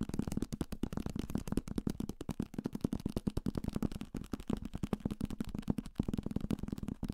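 A thick paperback copy of Salem's Lot, a solid paper block with a card cover, is held in the hand and tapped fast and aggressively with fingertips and nails on the cover and page edges. The result is a dense, continuous stream of dull, papery clicks and thuds, with a low-mid body and no ring after each tap.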